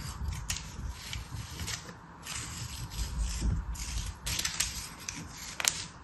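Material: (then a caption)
Kinetic sand. A metal craft knife scrapes and cuts along the surface of beige kinetic sand packed into an orange plastic star cutter held in hand. The sound is a steady, gritty rasping hiss with bright, crisp scratchy bursts over a soft low rumble, swelling and fading with each stroke.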